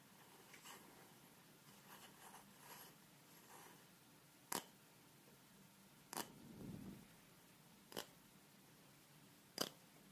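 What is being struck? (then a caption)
Small plastic spray bottle. Long red nails tap and scratch a small, hollow, pale pink plastic spray bottle with a clear cap, held in both hands. Faint, soft scratching in the first few seconds gives way to four sharp, bright clicking taps, with a brief muffled rustle after the second one. The overall sound is quiet and close, with short, dry taps that don't ring.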